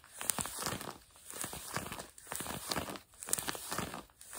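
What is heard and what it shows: Long fingernails scratch the fabric of blue denim jeans stretched over a bent knee. Dry, rasping scratches come in repeated bursts roughly once a second, with a crinkly, bright hiss over a soft, fabric-muffled low end. Quiet pauses separate the bursts.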